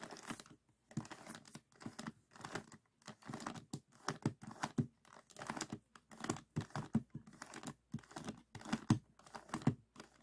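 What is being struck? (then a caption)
Plastic puzzle cube. A small, solid, stickerless plastic 3x3 Rubik's cube with orange, green and red faces is held in both hands while the fingertips twist its layers. Quick bursts of dry, clicking plastic turns come in short runs separated by brief silences. The clicks are quiet with a low-mid body and fade almost at once.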